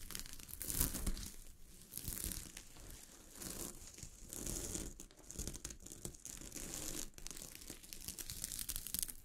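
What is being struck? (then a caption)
Sequin-covered fabric. Long glittery fingernails scratch across a sheet of fabric covered with small gold sequins lying on a surface. The result is a continuous crinkly, tearing-like rasp with a bright, hissy top and a soft low rumble, swelling and easing in uneven bursts throughout.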